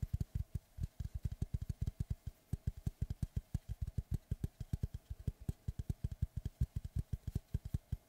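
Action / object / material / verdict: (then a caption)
tap / round wooden log slice / wood / none. Fingertips and nails tap and scratch the flat face of a large, round, solid wooden tree slice with a bark rim, held in both hands in front of the face. A rapid, steady run of short, dull, low thuds with almost no ring sits over a faint, bright scratchy texture.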